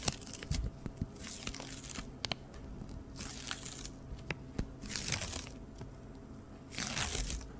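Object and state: Cardboard hat box.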